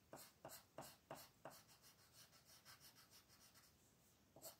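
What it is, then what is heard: Colored pencil on paper. A royal blue wooden colored pencil rubs steadily across a thin white paper mandala coloring sheet lying flat on a table. Six sharper, brighter scratchy strokes stand out, five in quick succession at the start and one near the end, with softer, rhythmic rasping strokes in between. The overall sound is quiet, dry and papery with little low end.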